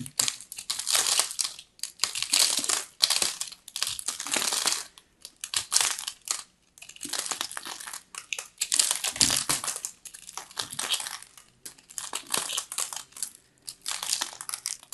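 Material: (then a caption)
Soap. A metal knife blade scrapes and crushes into a solid, fist-sized ball of pressed lilac shredded soap held in both hands. Bursts of dry, bright crumbling and crinkling repeat in quick clusters with short pauses between them. The sound has almost no low end.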